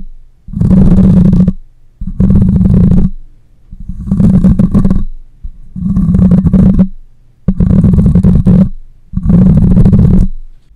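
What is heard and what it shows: The side of a black microphone's metal mesh grille is scratched with long nails in six separate bursts, each about a second long. Each pass produces a loud, low, rumbling scrape close to the mic, with faint bright crackle above it and a steady low hum between passes.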